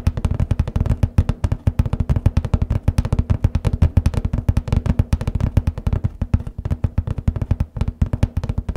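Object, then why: Cardboard paper box lid. Nails and fingertips tap rapidly on the centre of the hollow lid of a large cardboard copy paper box. The result is a steady, drum-like patter of dozens of short, dry, hollow thumps with a deep, boomy low tone. Each tap dies away almost instantly.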